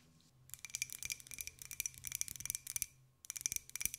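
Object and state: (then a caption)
Empty ceramic jar. A small, hollow, empty white ceramic jar with a pink and gold pineapple print is tapped with long nails. The result is quick, bright clicking taps in fast irregular bursts with a short pause before the last run. Each tap is dry and high with almost no ring or low end.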